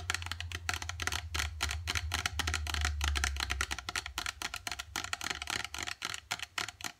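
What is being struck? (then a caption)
Plastic squeeze tube with plastic cap. Long dark acrylic nails tap fast along a partly filled gold plastic face mask squeeze tube and its white plastic cap. The result is a rapid, uneven patter of short, dry plastic clicks over a steady low hum.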